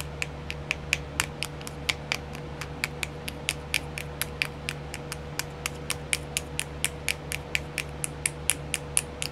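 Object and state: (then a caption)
Plastic nail art wheel. Long nails tap on a small, round, clear plastic nail art wheel whose compartments are filled. About 39 sharp, bright clicks come in a steady but uneven run, each dying away almost instantly. A constant low hum sits underneath throughout.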